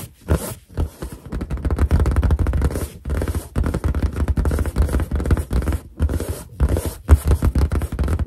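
Long dark green and black nails and fingertips tap, scratch and rub the surface of a large inflated white latex balloon with a cartoon boar face drawn on it. The hollow, air-filled balloon gives off dense, rapid, deep, booming thuds and soft rubbing scrapes. The quick, dry bursts are broken by a few brief pauses.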